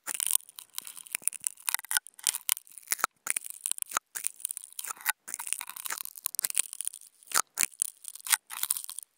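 Two wooden toothpicks rapidly scratch a flat white non-woven fabric sheet, producing dry, bright, crackly scraping with almost no low end. The scratching comes in quick bursts separated by brief silences.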